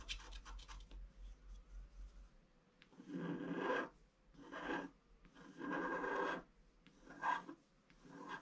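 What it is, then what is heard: Scratch art paper sheet being scratched. A wooden stylus scratches the black coating off a flat A4-size scratch art sheet with a colored layer beneath, lying on cloth while the other hand holds the sheet. Short, quick scratches at the start give way to longer, louder raspy strokes separated by brief pauses, with a dry, bright texture.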